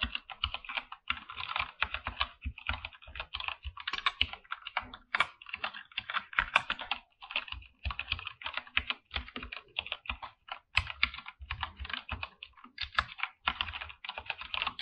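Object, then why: Mechanical keyboard with plastic keycaps. Both hands type with their fingertips on a full-size backlit mechanical keyboard with PBT plastic keycaps, under dim purple light. Fast, continuous bursts of crisp, bright clacks and clicks, centered around 1.1 kHz with little low end, die away almost instantly after each keystroke, with brief pauses between runs.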